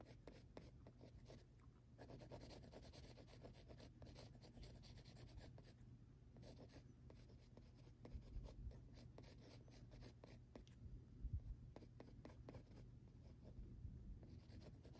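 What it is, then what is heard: Pencil drawing on textured paper. An orange mechanical pencil held in the fingertips stipples and scratches short strokes across a large, flat, solid sheet of textured drawing paper with a graphite drawing on it. The result is a steady, quiet run of soft, dry, muffled scratching and tapping, weighted toward the low end, with a few slightly louder taps near the end.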